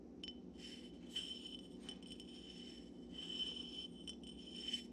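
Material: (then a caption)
Glass. An empty dark glass Syrah wine bottle, held upright and then tilted sideways over a pile of corks, is tapped with fingertips and nails. Quiet, bright glassy clicks and taps carry a steady ringing tone near 3 kHz that fades quickly. A low, soft rumble runs underneath throughout.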